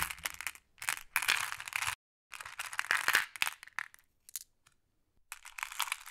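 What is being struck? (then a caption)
Small flat glass pebbles in a wooden tray. Fingertips with long blue nails press, slide and rub across a pile of small, solid, flat glass decorative pebbles in a wooden tray, with green pebbles held in hand at the start. The pebbles click and clatter together in bright, dense bursts broken by short silent gaps.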